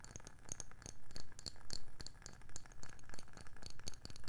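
Long nails tap the label side and underside of a round, palm-sized wooden candle lid in a quick, uneven series. Each tap is a short, dry click with a soft low knock beneath and bright ticks on top, dying away almost at once with no ring.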